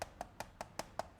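Knuckles knock on the plastic housing of a Tango2 radio controller to answer complaints that the plastic is too soft or thin. Six short, dry, evenly spaced knocks are heard, each with a mid-pitched click around 670 Hz and almost no ring. The shell sounds solid rather than hollow, like any ordinary plastic remote.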